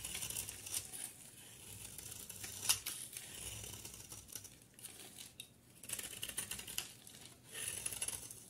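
A solid rectangular bar of soap, with a yellow outer layer and a cream core, is held in one hand and shaved with a utility knife blade, sending flakes falling. Quiet, bright, crisp scraping and crackling strokes come in uneven bursts, with one sharper snap near the middle.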